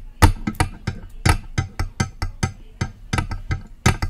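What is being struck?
Metal USB microphone body.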